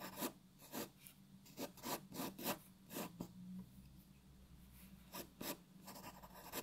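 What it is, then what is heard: Pencil drawing on paper. A graphite pencil draws details on a white paper sheet resting on a wooden table, producing about eleven short, bright scratching strokes in irregular bursts. Quiet pauses separate the strokes, with a faint steady low hum underneath.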